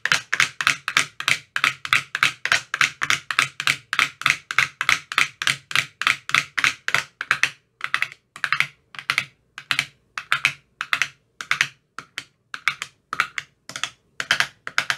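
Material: Plastic.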